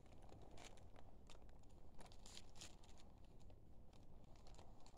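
A thin, flat, slightly crinkled sheet of white printer-type paper, roughly letter size, is held in both hands under dim blue light while fingertips bend and rub it. Quiet, continuous crinkling and crackling is heard, with brief bright bursts over a steady low rumble.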